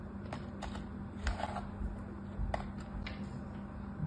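A red plastic knife cuts and slices squares through packed beige kinetic sand in a mint-green plastic tray, then fingertips with orange nails lift out a cut piece. Five quiet, soft, crumbly cuts and scrapes stand out over a steady low hum.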